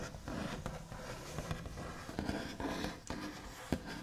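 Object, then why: Wooden tabletop. The backs of long nails scratch and trace across a flat, solid wooden tabletop with a white finish. A steady, soft, low scratchy rasp is broken by a few sharper ticks that die away almost instantly.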